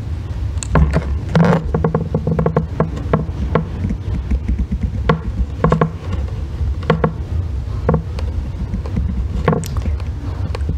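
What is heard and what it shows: A solid green Palmolive bar soap lying on a white box is scraped and shaved with a thin metal blackhead-remover tool held in the fingers, with long red nails resting on the bar. A steady series of short, dry scraping strokes is heard, each with a brief bright edge over a low, muffled rumble.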